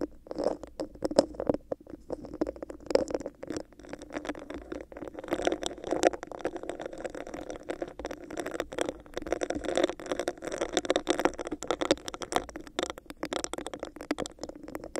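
Long nails scratch and tap quickly across a hollow, empty, clear, bumpy textured plastic cup held over the mic. The result is a dense, steady stream of dry clicks and scrapes with a hollow midrange tone from the cup. Each tap stops short with no ring, and the sound runs without pause throughout.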